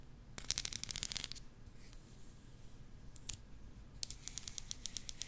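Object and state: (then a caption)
Plastic comb. Long nails and fingertips run and flick across the fine teeth of a small, solid black plastic hair comb held in front of the microphone, plucking and scratching it. Quick bursts of bright, crisp ticks rattle off the teeth, separated by a soft high hiss, then a final run of evenly spaced clicks. The sound is quiet overall, with each tick dying away almost instantly.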